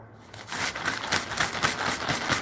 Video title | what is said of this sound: IT'S MONDAY WHAT WILL I GET INTO TODAY COME JOIN ME THIS MORNING | this feels like plastic. Sounds like plastic.